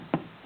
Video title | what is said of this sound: Uniden Madison 40 channel AM SSB CB Radio | you tap on that it's not you know tinny it's got a good good solid sound to it